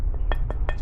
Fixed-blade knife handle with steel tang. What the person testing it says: you can hear as you tap on the end the metal that's in there